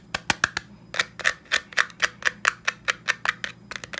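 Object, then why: Plastic and metal stapler. A black textured plastic stapler with a metal side, held upright, is tapped rapidly with the fingertips. About twenty sharp, dry clicks with bright, mid-high tone and almost no ring come in a quick, slightly uneven rhythm, with a brief pause after the first few and a faint low hum underneath.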